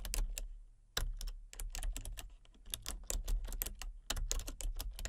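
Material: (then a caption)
Plastic. Fingertips with long nails tap across the keys of a full-size plastic computer keyboard with color-changing backlit keys and a hollow body. The result is a steady run of quick, bright clicks and clacks over a hollow low thump, with brief pauses between bursts of typing.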